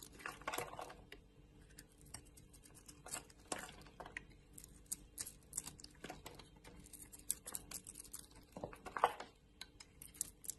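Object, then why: Bar of soap cut by a metal blade. A metal utility blade scrapes and cuts pieces off a hand-held, hand-sized solid oval purple bar of soap with a white core. Many quiet, crisp scraping and cutting strokes come in irregular bursts, each with a bright, dry edge and almost no ring. Soft crumbly crackles fill the spaces between strokes.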